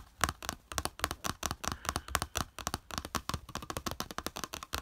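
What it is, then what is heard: Plastic plate. Fingertips and nails rapidly tap and flick the slotted raised edge of a small flat yellow plastic plate lying on beige fabric. The result is a fast, dense string of short, dry clicks and ticks with a hollow plastic tone around 1.1 kHz and bright edges, each dying away almost instantly.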